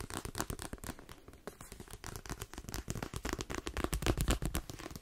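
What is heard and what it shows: Fingernails tap quickly on the spine and cream page edges of a paperback book with a glossy card cover and a solid block of paper. The result is a fast, uneven stream of short, dry, dull taps with a soft low thud and almost no ring.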